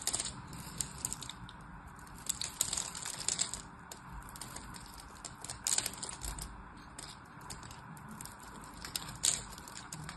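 A blade cuts a grid into a solid orange and white striped soap bar held in the hand, and small cubes crumble off. It makes a steady stream of crisp, bright scraping and crackling clicks, with a few sharper snaps standing out over a quiet background.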